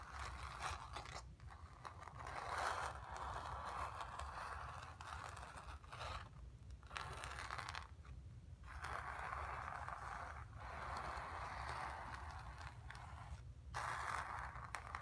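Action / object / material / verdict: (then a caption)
scrape / stretched painted cotton canvas / cotton canvas / none. Long nails scratch and tap across the surface of a stretched, painted cotton canvas. Dry, raspy scraping strokes run in bursts around the mid range, separated by brief quiet gaps and set over a low, steady rumble.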